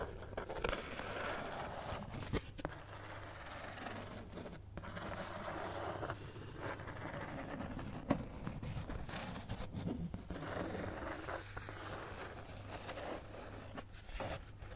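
Long nails slowly scratch a flat, thin, solid cat-head-shaped cutout of brown kraft cardboard, possibly thin fibreboard. It makes a soft, continuous dry scraping over a steady low hum, with a few sharper scratchy clicks standing out.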